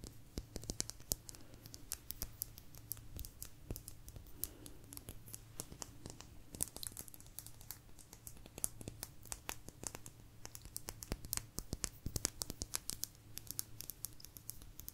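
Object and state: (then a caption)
Agate slice. A small, thin, solid blue agate slice is scratched and tapped with long nails. A dense, quiet stream of sharp, bright clicks and scratchy rasps comes with no ring after each tap, over a faint, steady low hum.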